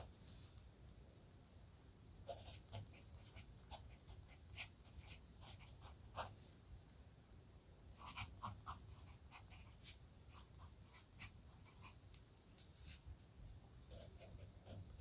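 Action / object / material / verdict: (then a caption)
scrape / wooden pencil on a paper notebook page / paper / none. A wooden pencil held in the fingers scratches lines of text across a thin paper page of an open spiral-bound notebook lying flat on a desk. Bursts of bright, dry scratching come in clusters over a low, steady background hum, with short strokes and pauses between words.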